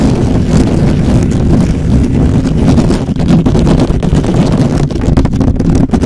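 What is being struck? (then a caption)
Metal mesh microphone grille. Fingertips of both hands scratch fast on the hollow metal mesh head of a black microphone. It makes a dense, steady, loud rumbling scrape, heavy in the low end with a muffled, windy texture and almost no bright detail.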